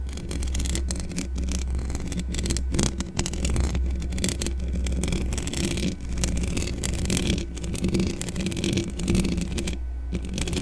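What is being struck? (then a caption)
Metal mesh microphone grille. Long dark-painted nails and fingertips of both hands scratch and brush the hollow metal mesh grille of a large black desktop condenser microphone in the Blue Yeti style, with no foam cover. This makes a continuous, dense scratching and rustling with a boomy, rumbling low end and crackly bright streaks. The level stays steady throughout.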